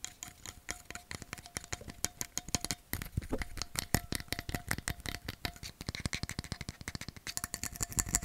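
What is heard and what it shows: A metal bottle is tapped rapidly for ASMR, giving about fifty quick, dry ticks with a faint metallic ring near 700 Hz. Each tap dies away almost at once, so the clicks run together in a fast, uneven rattle that grows slightly louder toward the end.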